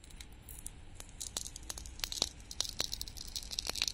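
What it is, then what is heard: Painted wooden toy tomato. Metal tweezers scratch and peel a glitter film off a small, flat, solid red painted wooden toy tomato held in the palm. Bright, crinkly scratching and tearing carries a steady run of sharp, high ticks and snaps that stop dead, with no ring.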